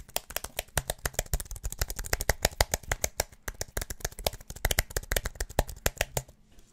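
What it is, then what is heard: Slim aluminum and plastic keyboard being tapped. A slim wireless keyboard with an aluminum body and white plastic keys, held near the mic, is tapped and clicked rapidly and aggressively with the fingertips. A dense, fast stream of short, sharp clicks and taps sounds, each bright but with a soft low thump beneath and almost no ring. The tapping runs continuously for about six seconds before trailing off at the end.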